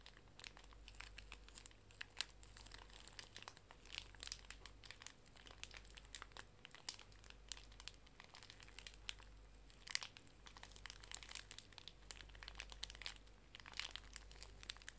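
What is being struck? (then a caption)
Pocket tissue pack in thin plastic film. A small, full pink pocket tissue pack wrapped in plastic film is squeezed and crinkled with fingertips and long nails while it is turned. Dense, bright crinkling and sharp crackles centred around 2 kHz continue throughout, over a steady low hum.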